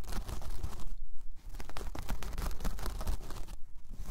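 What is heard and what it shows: Long painted nails scratch across a large, flat, solid round coaster of braided jute or straw. The result is a steady, dry, crunchy rasping with a low rumble underneath, briefly dipping quieter before the scratching resumes.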